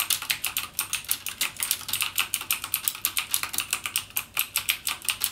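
Fingertips type steadily and rapidly on a full-size backlit mechanical gaming keyboard with plastic keycaps and Cherry MX Blue switches, resting on a desk. Each press gives a sharp, bright click that dies away almost at once, with almost no low end beneath the string of quick key strikes.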